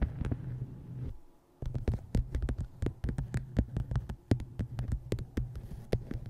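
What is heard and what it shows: Long nails tap the cover of a dark hardcover book with a photo inset, which rests on a microphone while hands hold it at the edges. The result is a run of quick, dull taps with sharp clicky tops over a steady low hum around 105 Hz. The sound drops almost to silence for about half a second near the start before the tapping resumes.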